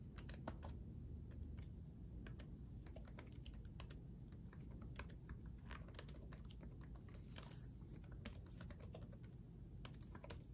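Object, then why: Plastic laptop keyboard. Both hands type rapidly with their fingertips on the backlit chiclet keyboard of a black laptop, its plastic keycaps set on a solid chassis. Quick, light, bright key clicks tumble over one another in a steady stream. The typing runs over a constant low hum at a fairly quiet level.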